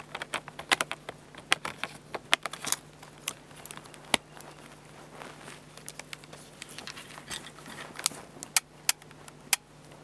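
Fingertips tap and rub the top plate, mode dial and buttons of a black plastic, hollow-bodied Fujifilm bridge camera, with its battery door open at the start. Quick, dry, bright clicks and taps land irregularly over soft rustling rubs. There is almost no low end, and each tap dies away instantly.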